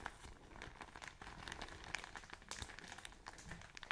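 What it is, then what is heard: Plastic bag of cotton wool crumpled. A full, soft plastic-film package of cotton wool is crumpled and squeezed between fingers with long nails, up close. It makes a steady stream of quiet, dense crinkling and crackling with bright, brittle snaps and a soft, muffled body underneath.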